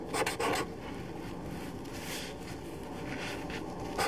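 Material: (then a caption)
Paper. A black permanent marker held in the fingertips writes names on a white sheet of paper resting on a table, its felt tip rubbing and scratching across the paper. A quick burst of bright, scratchy strokes opens the clip, settles into a quieter, steady rubbing, and ends with one more sharp, bright stroke.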